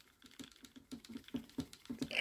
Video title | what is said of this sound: Twisted Assisted Gambler. Kickstarter for ,Small fixed blade. Paddy approved 👌 | shake this for you like a madman stop shaking any harder it's next to nothing